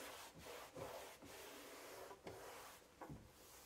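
A hand-held cloth wipes and rubs the bottom of a large, hollow, empty white melamine kitchen drawer. The result is a steady, soft, broadband swishing scrape that runs through the clip, with brief dips between back-and-forth strokes. The hollow drawer adds a faint mid-range resonance around 535 Hz.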